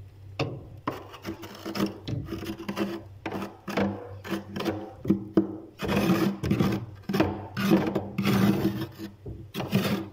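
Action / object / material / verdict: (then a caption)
scrape / frost ice layer in a freezer / ice / none. A metal spoon held in a hand scrapes a heavy layer of frost ice coating the inside of a freezer between the wire racks, and loose frost flakes off. Repeated rough, rasping scrapes come in uneven bursts over a steady low hum.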